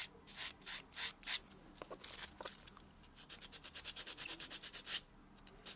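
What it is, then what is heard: Fingernail buffed with a foam buffer block. A white solid foam nail buffer block is rubbed along the natural fingernails of a hand lying flat on a dark textured surface. It makes bright, airy, scratchy swishes, first in slower uneven strokes and then in a quicker, steady back-and-forth rhythm. Each stroke stops dry with no ring.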